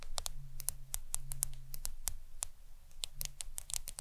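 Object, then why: Smartphone glass screen. Long acrylic nails on both hands tap the glass screen of a black smartphone lying flat on a towel. The result is a quick, uneven run of sharp, bright clicks that stop dead with no ring, over a steady low hum.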